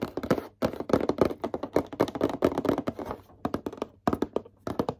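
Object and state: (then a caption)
Cardboard gift box. Fingertips tap rapidly on a Pokemon card starter deck gift box, the very first one ever received, producing a dense run of short, dry, hollow taps. The taps are mid-pitched with little low-end thump and almost no ring, coming in quick bursts with brief pauses between them.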